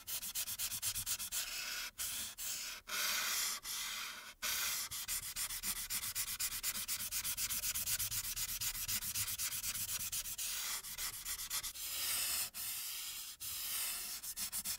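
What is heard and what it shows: A light-blue marker tip rubs in quick back-and-forth coloring strokes near the top edge of a printed paper coloring sheet held in a flat sleeve on a dark backing. The result is a dry, bright, scratchy rasp that repeats at about four strokes per second, broken by a few short pauses.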